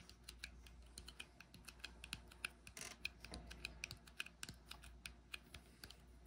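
Fingertips tap and rub the flat top of a brushed silver metal lid on a small frosted glass cosmetic jar held in hand. A quick, irregular run of light, dry, clicky taps rings bright with almost no decay, and a brief soft rubbing hiss comes partway through over a faint low hum.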